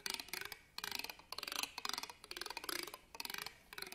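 A black pen scratches and taps along the ribbed metal clasp frame of an embroidered fabric purse held upright on a table. Quick, bright ticking scrapes come in short rippling bursts with brief pauses between them. Each click dies away almost instantly, with very little low end.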